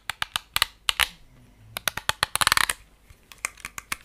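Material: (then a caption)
Plastic. Fingertips and nails run along and flick the white plastic bristles of a hand-sized, solid lilac plastic hair brush. The result is a quick, uneven series of sharp, dry, bright clicks and ticks with almost no low end and no ring, bunching into a dense flurry midway before spacing out again.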